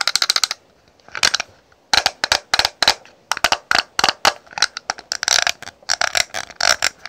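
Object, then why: Plastic cosmetic compact case. A small rectangular clear ridged plastic cosmetic case holding pressed powder is held and turned in the hands while long pink nails tap and scratch its lid and ribbed sides. Quick, bright, dry plastic clicks come in rapid bursts, mixed with short raspy scrapes along the ridges, with brief pauses between runs.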